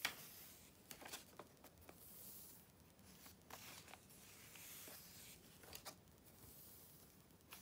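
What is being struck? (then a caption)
Glossy paper magazine pages. Thin glossy pages of a large open Vogue magazine from July 2013, lying flat on dark fabric, are turned and rubbed flat by fingertips with long painted nails. Soft, bright, airy paper swishes alternate with short crisp ticks and crinkles from the page edges, all at a quiet level with little low end.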